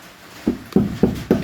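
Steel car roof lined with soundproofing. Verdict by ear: Solid.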